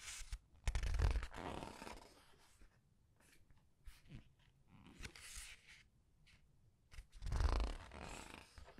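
Glossy paper pages of a large, thick hardcover art book with a red edge, lying open on a white table, are turned and rubbed one at a time by fingertips with long red painted nails. Soft sliding rustles and whooshing page turns rise and fall, with low thumps as pages settle near the start and again near the end.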